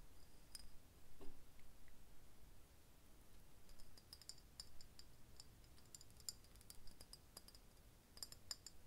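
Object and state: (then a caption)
Glass bottle tapped with fingernails. Fingernails tap quickly on an embossed, hollow green glass bottle held in the hand. The result is quiet, sharp, high clicks that die away almost instantly over a low background rumble.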